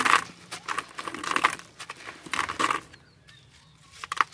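Bare hands break and rub apart dry, gritty sand-cement lumps over a white plastic basin full of loose sand. Bursts of dry, grainy crunching and crumbling hiss come with bright, crackly detail centered around 1 kHz, then fall to a near-silent stretch. A few faint, sharp ticks follow before one last crumble at the end.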